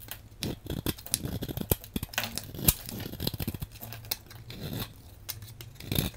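A metal blade with a patterned handle shaves and scrapes flakes and chunks off a solid, hand-sized blue bar of soap held in one hand. Quick, crisp scraping and crackly shaving strokes come in uneven bursts with short, sharp ticks and a low, soft rumble underneath.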